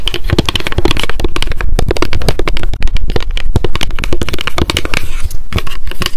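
Long decorated acrylic nails tap rapidly on a small pink m.memo spiral-bound paper notebook with a card cover, held in the hands. A dense run of sharp, dry clicks comes in quick succession, with a strong low thump beneath each tap and a crisp papery edge. Each tap dies away almost instantly, leaving a steady, busy patter.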